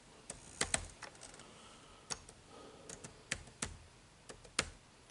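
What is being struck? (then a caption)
Plastic laptop keyboard keys. Fingertips type on the dark plastic keys of an HP laptop keyboard, giving about twelve irregular, quiet clicks. Each click is short and bright, with almost no ring, and the taps come spaced apart with brief pauses between them.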